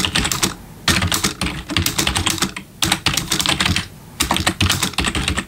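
Both hands type with their fingertips on a black plastic backlit computer keyboard, producing quick bursts of bright, dry key clicks with a soft low thud beneath them. The rapid bursts are separated by short pauses, and each click dies away almost instantly.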